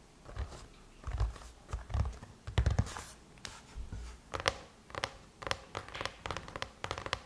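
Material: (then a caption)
Aluminum. Long chrome-painted nails tap and scratch across the lid of a closed silver aluminum MacBook. Dull, low thuds mix with bright, short clicks and brief scraping swishes in an uneven rhythm, each hit dying away almost instantly.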